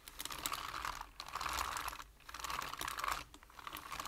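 Fingertips type on a full-size black plastic computer keyboard, producing a fast run of crisp, bright key taps with a steady midrange clack. The taps come in bursts separated by two brief pauses.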